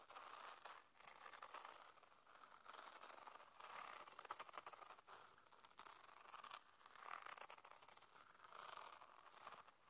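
Long painted nails scratch and tap a small, hollow, black hard-shell zip earphone case with a mesh fabric cover, held in the palm. The result is quiet, dry, rasping scratches in uneven bursts, concentrated in the mids with a bright hissy edge and almost no low end. Occasional sharper ticks stand out among the scratching.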